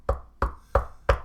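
Four knocks on a desk, evenly spaced, each a short dull thud with a low body and a brief midrange ring that fades quickly.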